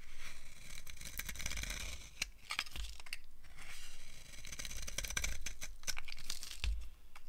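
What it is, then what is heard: Dry soap bar being carved. A green-handled blade carves crunchy, curled shavings off a solid, rectangular, dry green soap bar held in the hand. Each stroke gives a bright, crackly scraping crunch over a low rumble, with short pauses between strokes.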